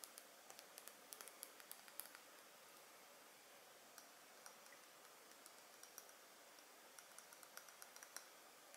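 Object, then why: Small glass perfume bottle with metal cap. A small, partly full Dolce&Gabbana The One glass perfume bottle with a gold cap is held in the hands and tapped with long nails on the glass and the cap. About 24 quiet, sharp, high-pitched clicks come in uneven bursts over a faint hiss. Each tick dies away almost instantly, with no low-end body.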